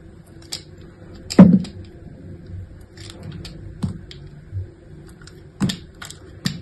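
A metal utility-knife blade scrapes and shaves into the surface of a solid, palm-sized pink soap bar held in one hand with long manicured nails. Soft, crisp scrapes and clicks come at uneven intervals over a quiet, low background, each one dying away quickly.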